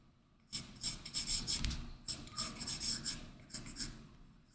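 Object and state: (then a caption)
Stylus scratching on a matte film over a tablet's glass screen. An Apple Pencil's hard tip makes rapid small circular hatching strokes across the matte textured Paperlike plastic film on the glass screen of a large flat iPad Pro. Dry, bright scratching comes in quick, uneven bursts after a brief quiet start, with a brief pause near the middle before the strokes resume and fade out.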